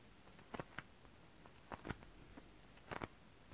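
Long decorated fingernails tap and scratch a shiny holographic mermaid scale-printed fabric. Quiet, dry clicks and brief bright scratches come in irregular clusters with almost no ring, over a faint steady hiss.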